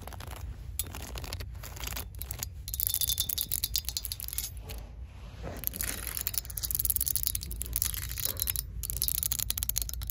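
An open hand with long nails sweeps and rakes across a row of metal hanger hooks holding jeans on a store clothing rack, so the hooks rattle against each other. Dense, bright metallic clicking and jangling runs throughout over a steady low rumble. It swells louder in two stretches, around the third to fifth second and again from about the sixth to eighth second.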